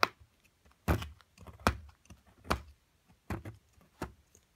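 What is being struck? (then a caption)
Plaster excavation block and metal chisel. A metal chisel scrapes and chips at a solid plaster excavation block, a mound held in a hand with long nails. Short, dry knocks and scraping crunches come at an uneven pace, each dying away almost at once, with gritty crumbling between the stronger strikes.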